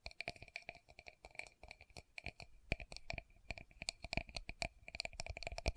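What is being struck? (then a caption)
Small plastic cosmetic powder jar. Long fingernails tap quickly on the body and base of a small, round, clear pinkish plastic Estee Lauder loose powder jar held in both hands. The result is a fast, uneven run of short, dry plastic clicks, each with a brief bright ring and a little low thump.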